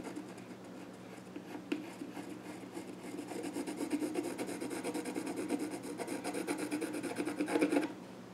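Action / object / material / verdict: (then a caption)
scrape / wooden stool top scraped with a pencil / wood / none. A pencil scratches and rubs, drawing lines across the grain on the flat top of a small wooden child's stool. The dry, raspy strokes start soft, grow louder and denser after a few seconds, then stop abruptly near the end, leaving a quiet hiss.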